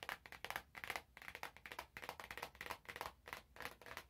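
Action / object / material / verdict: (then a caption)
tap / cardboard box wrapped in cellophane / cellophane / none. Fingertips squeeze, tap and crinkle the cellophane wrap on an orange cardboard box. The result is a quick, uneven run of crisp, bright crackles and short taps, with almost no low end and no ringing.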